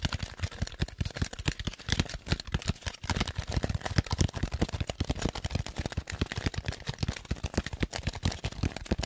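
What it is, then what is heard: Styrofoam dome. A large, light, hollow white styrofoam dome is held up in one hand and tapped rapidly with the fingertips of the other hand. The taps give dry, hollow thuds with a low body, very short decay and a faint bright click on each, running continuously with no pause.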